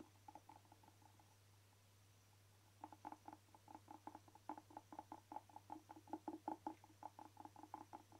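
A hand-sized hollow black rubber air blower bulb, held in both hands, is tapped and scratched with short fingernails. A few soft, quick taps are followed by a pause, then a steady run of about thirty dull, hollow-toned taps that die away almost instantly. A constant low hum sits underneath throughout.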